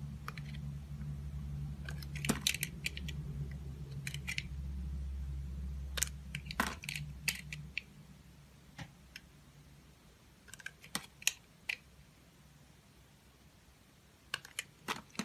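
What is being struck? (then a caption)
Glycerin soap bar cut with a blade. A translucent orange, solid, hand-sized glycerin soap bar held in fingers with long nails is shaved into thin curls with a utility-knife blade. Short, crisp, bright scraping clicks come in irregular bursts, over a low steady hum for the first seven seconds. After that the hum fades and the quieter cuts stand out more sharply.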